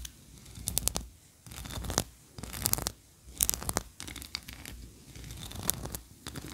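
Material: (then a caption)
Wax. Long nails scratch the ridged tiers of a solid white ribbed wax tree-shaped candle, which is held tilted and then set upright. Bursts of dry, bright scratching and rasping come and go, separated by short quiet gaps over a faint low rumble.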